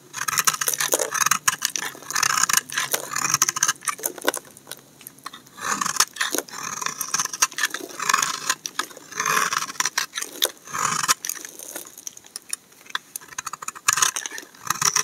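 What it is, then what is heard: Laundry soap bar being scraped. A steel utility knife blade scrapes shavings off the surface of a solid tan-brown laundry soap bar held in hand. Repeated crisp, dry scraping strokes come in quick bursts, bright and papery with almost no low end. Each stroke cuts off sharply, with only brief pauses between them.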